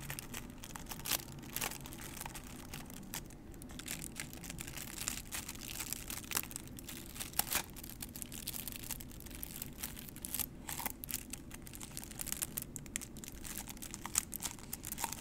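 Long nails scratch and tap a small, hollow, empty white printed paper cup held in both hands, with some crinkling of the paper. The sound is a quiet, bright, dry stream of scratches and many sharp, short taps over a low background hum.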